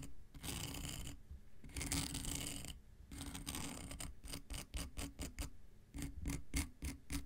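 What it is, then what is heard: Emery board nail file. An X-Acto knife blade scratches across the abrasive surface of a long, flat, solid dark grey emery board nail file. Three long, gritty, bright rasping strokes are followed by a quicker run of short, sharp scratches, all over a steady low rumble.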